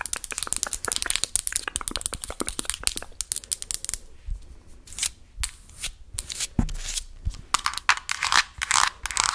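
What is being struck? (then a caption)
Plastic tub of petroleum jelly with plastic lid. Long nails tap and scratch the blue plastic lid and sides of a medium translucent plastic tub of Vaseline full of jelly. A rapid, dense run of bright, crisp clicks fills the first four seconds, then gives way to sparser taps and hissy, crinkly scraping strokes.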